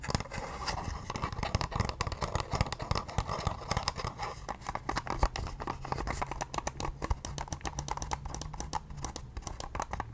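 Long painted nails tap rapidly on a pale pink, palm-sized, oval handheld facial cleansing device with a hollow hard plastic shell. The result is a quick, dense stream of short, dry clicks and taps over a faint steady low hum.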